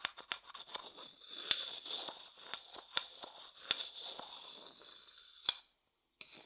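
A thin wooden stick rubs and scrapes around the inside of an empty, pale, hollow wooden bowl. The sound is a bright, dry, high scraping with a faint high ringing tone and several sharp, quickly fading clicks. It stops briefly near the end, then resumes.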